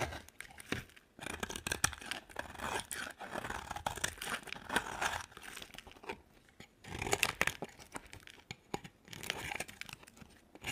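A utility knife blade shaves and carves thin curls from a solid, dry white bar of soap held in the hand. Crisp, bright scraping and crunching strokes come in bursts with short quiet pauses between them, with little low-end body and almost no ring after each stroke.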